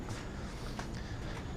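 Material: Nothing is struck.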